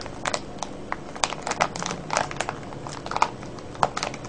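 Fingers crinkle and scratch a clear cellophane bag full of foil-wrapped candies. Sharp, bright crackles and snaps come in quick, irregular bursts over a soft, steady rustle, each one cutting off almost instantly.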